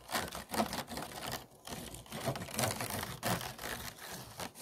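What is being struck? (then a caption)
Empty disposable plastic food container with ridged sides. A tool and fingernails scratch the ridged sides of an empty, hollow, disposable clear plastic food container. The result is a run of quick, dry, raspy strokes with a bright, crackly texture, coming in irregular bursts with no ringing after each pass.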